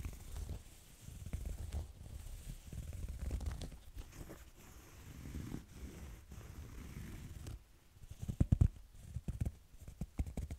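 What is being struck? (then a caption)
Corduroy fabric backpack. Fingernails scratch slowly across a small cream corduroy fabric backpack with zippers, making a soft, low, rumbling rasp that swells and fades in long strokes. Near the end the scratching turns into sharper, louder scuffs and taps before settling back down.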